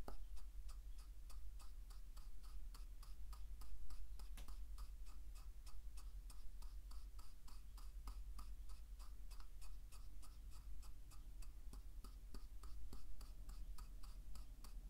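A wooden pestle crushes salt quickly inside a hollow, carved wooden mortar, striking the bowl with a steady run of rapid, even taps and crunches. Each short, woody knock rings around 1.2 kHz with a bright crackle of salt, over a constant low rumble at a quiet level.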